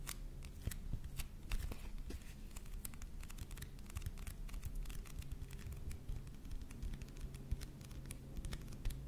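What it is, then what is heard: Paperback book with glossy cover. Fingertips and nails tap and scratch across the front of a closed "Heilsteine" paperback with a glossy paper cover, held upright. Quick, dry clicks and bright scratchy ticks repeat throughout at a quiet level over a steady low rumble.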